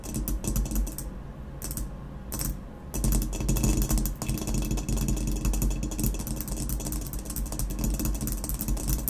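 Long nails tap rapidly on the base of a hollow ceramic vase marked "W. Germany," making a dense stream of quick, dry clicks over a low, hollow body. The tapping eases briefly near the start, then returns as a steady, busy patter.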